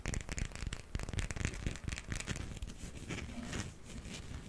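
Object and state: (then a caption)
Plastic hippo figurine. A small, solid hard plastic toy hippo figurine, held in the palm, is tapped and scratched with fingernails. The result is a dense, continuous run of quick dry clicks and scratchy crackles with a dull low thump under them. The taps fade almost instantly.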